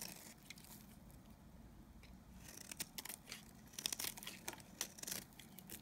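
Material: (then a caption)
Soap. A solid, cream-colored dry bar of Nevskaya Kosmetika soap, held in the hand, is scraped and shaved with a utility knife blade. Quiet, bright, dry scratching and crisp crackling flakes come in irregular bursts. They grow denser and louder in the second half, with little low-end weight.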